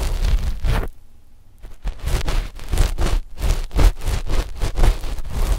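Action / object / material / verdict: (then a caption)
scrape / knit fabric sheet over microphones / knit fabric / none. Long fingernails of both index fingers scratch a flat, dark knit fabric sheet laid over the left and right microphones. The result is a run of quick, rough rustling strokes with heavy low-end thump and a faint bright edge, broken by a short near-silent pause about a second in before the scratching resumes.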